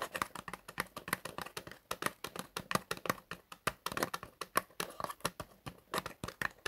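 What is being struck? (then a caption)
Small cardboard box. Fingertips tap rapidly on the surface of a small, hollow, light printed cardboard box for Travocort cream, held horizontally in both hands. About 39 quick, dry taps sound with almost no ring, a hollow papery knock centered in the upper mids with bright clicky edges.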